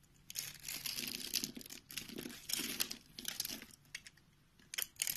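A palm-sized, solid white bar of soap is held in one hand and scored and shaved with a box-cutter blade into small cubes that crumble off. Bright, crisp scraping and crumbling bursts come in uneven runs with short quiet gaps, carrying almost no low end.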